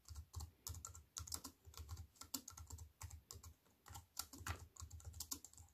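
Fingertips with long white-painted nails type on a slim wireless keyboard with a silver aluminium frame and black plastic chiclet keys, resting on a wooden table. A quiet, steady run of short, bright key clicks over soft low thuds comes in uneven bursts with brief pauses, each tap dying away almost at once.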